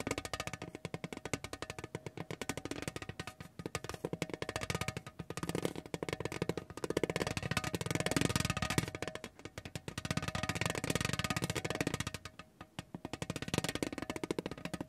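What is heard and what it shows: A spiky orange rubber massage ball is rolled and pressed by hand over a large, thin, lithographed painted tin tray. It makes a dense, rapid stream of small dry tapping hits with a faint metallic ring. The clatter swells and fades in waves and briefly quiets near the end before picking up again.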